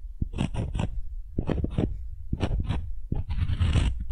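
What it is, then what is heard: Wooden ball scraped with a wooden spoon. A solid, light wooden ball held in the hand is rubbed and scraped with the bowl of a wooden spoon. Short, raspy scraping strokes come in quick clusters separated by brief pauses, then give way to a longer, continuous rub at the end. The sound is quiet, dull and low-weighted, with a faint bright hiss on each stroke.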